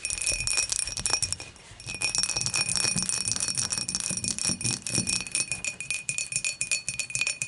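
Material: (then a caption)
Glass. Long matte nails tap rapidly on the dimpled wall of an empty, clear dimpled glass beer mug lying on its side. The result is a dense run of bright, clicky glass ticks with a faint high ring that dies almost instantly. The tapping eases briefly about a second and a half in, then continues steadily.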